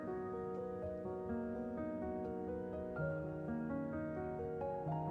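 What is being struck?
Nothing is struck.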